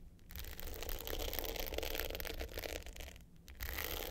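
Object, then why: Glitter-coated hard-case clutch with metal frame. Long pointed nails scratch the dark blue glitter top of a small, rectangular, hollow hard-case clutch with a gold metal frame, lying flat. The result is a dense, gritty scraping that rises and falls in short strokes, with a brief quiet dip near the end before the scratching resumes.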